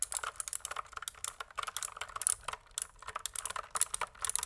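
A pink plastic mechanical keyboard, tilted at an angle, is typed on with the fingertips. It gives a quick, uneven run of sharp, dry clicks and clacks that are bright with almost no low end. Each keystroke dies away almost at once.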